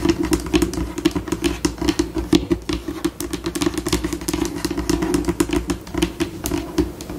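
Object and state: Laminate tabletop tapped and scratched with nails.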